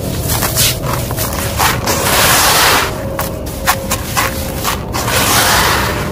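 Bare hands wearing a bangle scoop small, loose, dry grey crushed stone chips in a large red plastic tub, letting them pour through the fingers, then rubbing and stirring the granular mass. The result is a steady, gritty rattling hiss, bright and crunchy, swelling in louder bursts as the chips spill and grind together.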